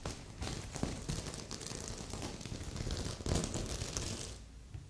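Long nails scratch across the sequins of a stuffed magenta and silver sequin heart pillow, with a second, untouched pillow sitting beside it. The sound is a steady, bright crinkling rasp with a soft low rumble underneath, continuing throughout and easing off toward the end.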